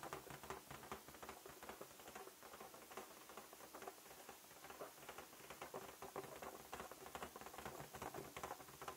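A large, inflated light-blue latex balloon, hollow and air-filled, is held close and tapped with fingertips and nails. The result is a quiet, rapid, continuous patter of light taps, centered in the midrange with a slight bright edge and almost no low end. Each tap dies away quickly.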